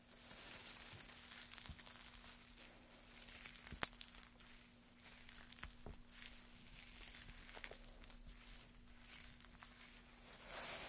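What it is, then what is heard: Pile of wood shavings being crumpled. Gloved hands push and crumple a heap of thin, dry wood shavings from both sides. A soft, bright crackling and rustling runs throughout, broken by a few sharp snaps, over a faint steady low hum.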